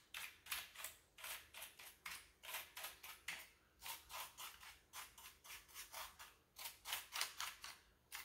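A wooden-handled bristle brush sweeps between the keycaps of a full-size black plastic keyboard with a hollow body. It makes 24 quiet, bright, scratchy swishes in a loose, uneven rhythm, each stroke fading quickly with little low-end.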